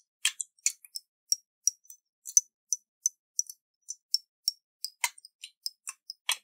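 Fingernails tap a round, hollow glass jar with a metal lid and water inside, held in the hands. A quick, irregular series of light, bright clicks sounds, each with a faint high ringing tone that dies away almost at once, with a few heavier, fuller taps among them.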